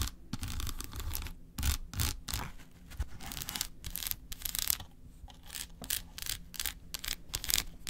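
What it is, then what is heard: Milk chocolate bar. Long acrylic nails quickly scratch and tap the segments of a large solid milk chocolate bar, first as it rests on a paper plate and then after it is lifted. The result is dense bursts of bright, high scratching over dull, low thumps from the taps.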